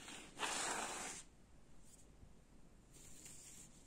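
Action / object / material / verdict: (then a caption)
scrape / woven jacquard fabric curtain / woven fabric / none. Fingers scratch and rub the woven surface of a gold jacquard fabric curtain hanging in folds. A bright, hissy scratch lasts about a second, followed by quieter, fainter rubbing against low background noise.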